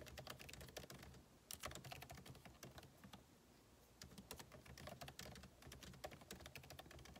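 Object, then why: Laptop keyboard, plastic keys in aluminium body. Fingertips type rapidly on the plastic keycaps of a backlit MacBook Pro keyboard set in an aluminum body. Dense bursts of short, bright clicks and taps arrive in quick runs, with a brief lull around the middle before the typing picks up again.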